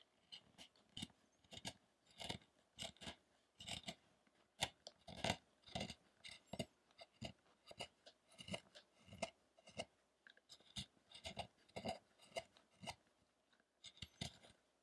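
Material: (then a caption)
Wood. A small chisel makes repeated scraping cuts on the block beneath a solid light-wood Buddha statue, throwing off wood chips. Short, dry, bright rasping strokes come in quick bursts with brief pauses between them.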